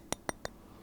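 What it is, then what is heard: Metal camera front, not plastic. The metal front part of a Soviet camera is tapped three times, giving short, bright clinks that confirm it is made of metal rather than plastic. Each tap is a sharp click with almost no ring, separated by brief pauses.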